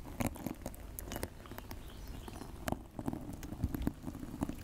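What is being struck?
Dry natural loofah sponge.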